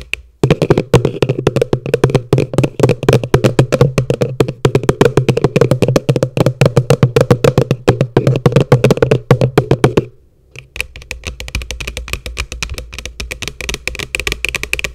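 Long nails rapidly tap and scratch the base of an upside-down, hollow, empty yellow plastic bucket, making quick, dry, hollow knocks with a low, boxy body and almost no ring. After a brief pause near the ten-second mark, the tapping resumes softer and lighter, with more scratchy texture.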